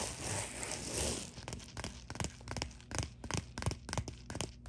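Long nails scratch and tap quickly across the bubbled surface of a white padded plastic poly bubble mailer lying flat. A dense, bright crinkling scratch fills the first second, then gives way to quick, irregular crisp taps and short scrapes with a low, dull body.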